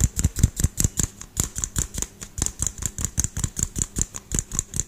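A small household LED light bulb with a hollow, frosted pinkish-white plastic dome is held in one hand and tapped quickly with the fingertips and nails of the other, close to the microphone. About 26 short, dull low thumps with bright clicky ticks come in a fast, uneven rhythm, each dying away almost at once.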